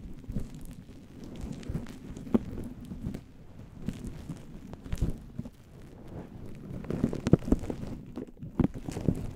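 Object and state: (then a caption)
Furry microphone windscreen being scratched. Fingertips and nails of both hands scratch and pinch a fluffy faux-fur synthetic windscreen on a microphone. The result is a dense, low, muffled rustling and rumbling, broken by sharper scratchy crackles and brief clicks that grow busier toward the end.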